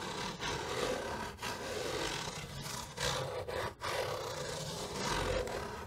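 Long nails scratch and tap across the top and side of a large, hollow, dark grey cardboard box with a textured surface. The result is a steady, dense rasping scrape with a hollow midrange tone, broken by brief pauses and louder swells of scratching.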